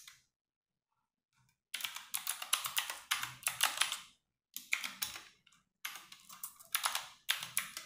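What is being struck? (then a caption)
Plastic mechanical keyboard. Fingertips with long nails type fast on a compact 60% RGB-backlit mechanical keyboard with plastic keycaps, resting on a wooden desk. After a short faint tap and a near-silent gap, bright, clicky keystrokes come in quick clattering bursts separated by brief pauses, with almost no low end and each click dying away quickly.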